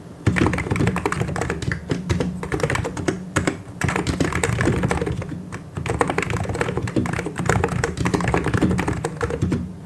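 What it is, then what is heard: Plastic mechanical keyboard being typed on. Both hands type continuously with their fingertips on a full-size plastic mechanical keyboard with white and grey plastic keycaps and hollow switches. A dense, steady run of hollow, thocky key clacks with a low body and little brightness, in brief pauses and bursts.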